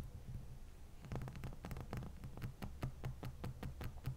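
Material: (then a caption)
Ice. Long fingernails of both hands scratch and tap a large, solid, dome-shaped ice block resting on a towel. Soft scratching opens the clip, then a run of quick, crisp taps with bright clicky tops follows over a steady low hum. The sound stays quiet throughout.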